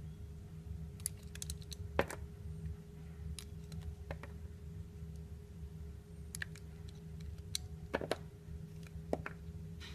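A small, solid, translucent orange glycerin soap bar shaped like a peeled tangerine is held in the palm, gripped by long painted nails, and cut and scraped with a metal utility knife blade. Short, sharp clicks and crisp snaps scatter over a steady low rumble and a faint constant hum. A few brighter cuts stand out above the quiet background.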